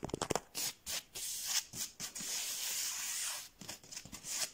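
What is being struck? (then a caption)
Foam mat. Fingertips and nails tap and scratch the textured surface of a large, flat, soft but solid blue foam mat of the yoga or camping style. A few quick, dry taps open the clip, followed by bursts of bright, hissy scratching and a long, steady scratch before lighter, patchier rubbing returns. The sound is airy and high with almost no low end.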